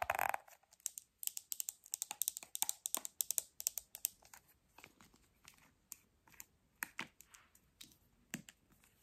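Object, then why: Small plastic squeeze tube. A small pink plastic makeup squeeze tube, hollow and apparently filled, is held in one hand and tapped and scratched with long red acrylic nails. Quick, dry, bright clicks and scratchy rustles follow one another in a busy, irregular run, then thin out into softer, sparser taps.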